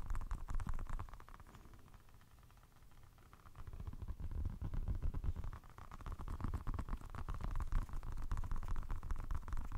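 A small, green, soft rubber orbeez stress ball filled with water beads is held in the fingertips in front of a microphone and squeezed and rubbed. It makes a rapid, irregular stream of deep, wet squishing sounds, fading to a quieter stretch in the middle before growing louder again.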